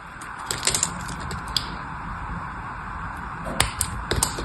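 A solid blue bar of soap is held in the hand while a blade cuts slits into it and fingers peel off the carved pieces. Short, crisp, bright snapping clicks come in two bursts over a steady soft hiss.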